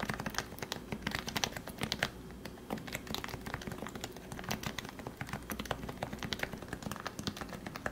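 Fingertips type steadily on the white plastic keycaps of a compact Leopold FC660C Topre keyboard with 45g lubricated switches, producing a dense stream of short, soft clacks with muted thocky bodies and bright clicky tops. The keystrokes come in quick overlapping bursts with very brief decay over a low constant background hum.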